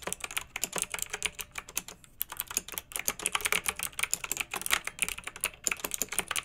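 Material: Plastic.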